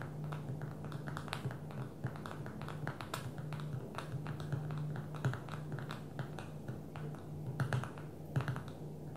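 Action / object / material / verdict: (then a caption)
tap / smartphone with glass touchscreen / glass / none. Long manicured fingernails of both hands tap rapidly on the glass touchscreen of a small black smartphone lying flat on a dark table. Dense, quick, dry clicks run continuously with brief bright ticks over a steady low hum. Each tap dies away almost instantly.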